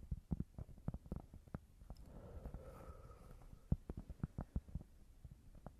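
Tapping on a cork board gives a series of dull, muffled, low thuds with almost no ring. Quick clusters of taps come first and last, with a softer stretch in the middle carrying a faint hum.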